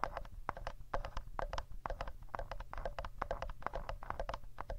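Fingertips and nails tap rapidly on the rear casing of a handheld black plastic Tascam audio recorder near its speaker grille, while both hands hold the hollow device, which is itself the microphone picking up the sound. The result is a quick, uneven run of short, dry clicks centered in the mid-range around 1 kHz, each dying away almost instantly over a steady low-frequency rumble from handling.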